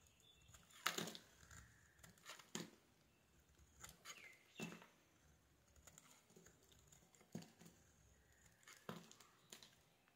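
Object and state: Bar of soap being shaved.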